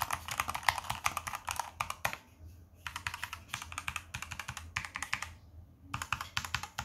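Blue nitrile-gloved fingertips type rapidly on a Z-77 tenkeyless mechanical keyboard with hot-swappable red key switches, white plastic keycaps, and a brushed silver aluminium top plate, lying flat on a carpet. Quick bursts of bright, crisp clacks with no ring are separated by two brief pauses, over a faint low hum.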